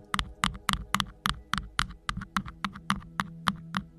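Fingertips and nails of both hands rapidly scratch and tap the faceted surface of a tall, hollow, green rhinestone-studded cylindrical sleeve with a silver fuzzy band at its base, fitted over the head of a Blue Yeti microphone. A quick, slightly uneven run of short, crisp clicking taps with bright, glassy sparkle sounds over a faint steady low hum.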